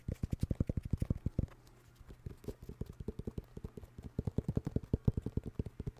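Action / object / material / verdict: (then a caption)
tap / sneaker, synthetic leather upper with rubber sole / synthetic leather / none. Rapid tapping on a New Balance sneaker made of synthetic leather with a rubber sole gives a steady stream of short, dull, low thuds. The thuds pause for about half a second near the middle, then resume at the same quick pace. The hits are dry with almost no ring and very little high end.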